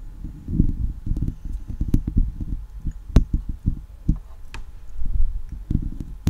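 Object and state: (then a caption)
Metal mesh microphone grille scratched. Long leopard-print acrylic nails and fingertips scratch and rub a hollow steel wire mesh microphone head throughout. The result is a deep, muffled scratching and rustling, heavy in the low end, broken by quick sharp clicks and taps.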